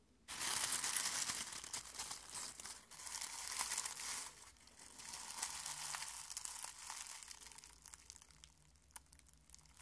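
Fingers crush and crumple dry rose petals in a small clear glass bowl held in one hand. A dense, bright crinkling and crunching starts abruptly and continues throughout, swelling and easing in waves before growing quieter and more scattered toward the end.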